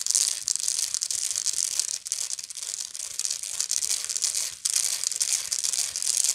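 Long fingernails on both hands scratch the textured weave near the center of a round, hollow woven straw or raffia bag held close. It makes a dense, bright, dry scratching crackle with almost no low end. The scratching runs continuously, with brief dips just after two seconds and near four and a half seconds.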